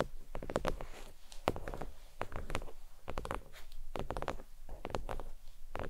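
Long nails tap and lightly scratch a thin, flat red stitched faux leather oval desk mat resting on a towel. The result is quick, soft, dull taps in irregular bursts mixed with faint scratchy brushing, with a low, muffled body and almost no ring.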